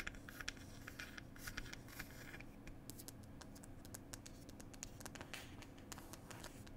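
Long pointed nails scratch and tap the printed wooden lid of a small wooden "Cherry Tea" box. Quiet, dry scratching is broken by a rapid scatter of short, bright clicks and ticks over a steady low rumble.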